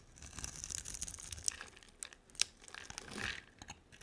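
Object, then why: Bar of soap. A utility knife blade scrapes and carves slices from a hand-sized solid purple bar of soap with a dark coating. Quiet, bright, crackly shaving and crinkling sounds are heard, broken by a few sharp clicks as the blade bites. A louder rasping stroke rises near the end.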